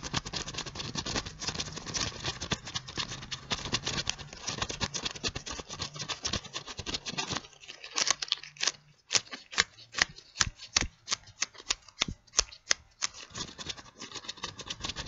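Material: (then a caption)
Latex. White latex gloves worn on both hands, held close, rub against each other so the thin latex stretches and squeaks. A dense, bright crackling rub fills the first half, then gives way to sparser, sharp squeaky snaps with quiet gaps between them.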